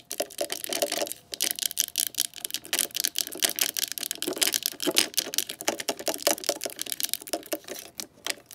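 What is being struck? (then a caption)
Hard plastic telephone handset. Long nails from both hands tap and scratch along a green glossy hard-plastic telephone handset resting on the cradle of a rotary phone. The result is a dense stream of rapid, crisp, bright clicks mixed with dry scratching, each tap dying away almost instantly with no low-end thump.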